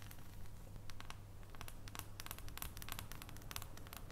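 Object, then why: Bar of dark chocolate. Long painted nails tap quickly and lightly on an unwrapped solid dark chocolate bar held above its foil wrapper, making a steady run of soft, bright clicks with faint crinkly rustling. A low, steady hum sits underneath the quiet tapping.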